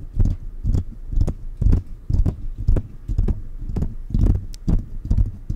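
Fingertips of both hands tap the hollow mesh grille of a silver metal condenser microphone on a stand. The result is a loose, uneven patter of short, deep, muffled thumps, about two per second, almost all low boom with very little brightness and no ring after each tap.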